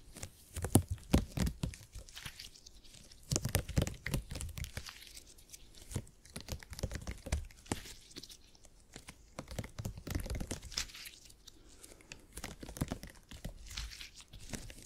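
A purple gel grid cushion made of hyper-elastic polymer is bent, stretched and squished by both hands. It gives off dense, sticky crackling and tearing-like pops over soft low thumps, coming in bursts with brief quieter gaps between handlings.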